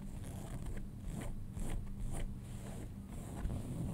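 Fingernails scratch the front pocket area and pocket stitching of light-blue cotton denim jeans lying flat. A steady, low, rumbling scratch runs throughout, with short, bright rasping bursts rising and falling as the nails drag across the fabric.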